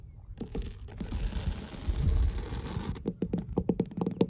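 Long blue nails scratch and rub across solid weathered wooden dock planks, giving a low, dull, continuous scraping for about two and a half seconds. The scraping then gives way to a quick run of short, hollow taps on the wood surface, each dying away almost instantly.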